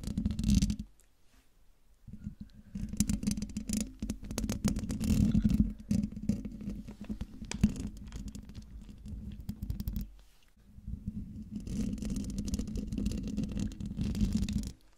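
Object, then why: Metal mesh microphone grille. Long dark-painted nails scratch the hollow metal mesh grille of a silver Blue Yeti microphone, making a dense, uneven scraping with a heavy low rumble and a steady tone near 200 Hz. The scratching stops briefly twice, around 1 to 2 seconds and again near 10 seconds, then resumes at a similar level until the end.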